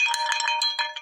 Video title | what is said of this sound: Detecting Northeast Kingdom Vermont Farm 2023 | you can hear it ring